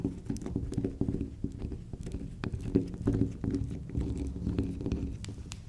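Long pink acrylic nails rapidly tap and scratch a small, solid, round pink soft soap disc with a dark pink spiral, held in the hand, with soap shavings on the table. The result is a quick run of dull, low, clip-clop-like clicks and short scratchy patters that die away almost at once, with occasional faint bright ticks.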